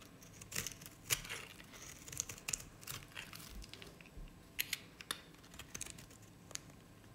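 A utility knife blade shaves curls off the bottom of a cream-colored dry solid bar of Nevskaya Cosmetics soap. The result is a quiet, dry, bright crackling and crunching, with sharp little snaps and scraping ticks that die away almost instantly.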